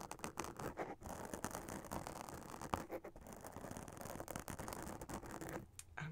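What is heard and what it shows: Long acrylic nails scratch the black glitter spiderweb fabric of a witch hat up close. The result is a steady, dense, crackly scratching with quick rasping strokes and a soft, low-level texture that briefly thins out near the end.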